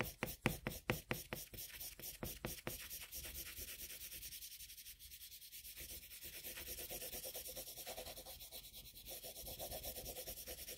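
A colored pencil is rubbed over a flat sheet of drawing paper with broad shading strokes. It opens with quick, distinct scratchy strokes that then blend into a steady, grainy, bright rubbing with a soft back-and-forth rhythm.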